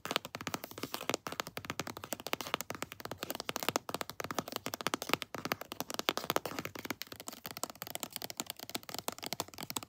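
A pink plastic lotion tube with a textured surface is tapped with long nails on its front and back. The rapid, dry clicks and light crackles come in quick bursts, with a bright, crisp edge and almost no low end.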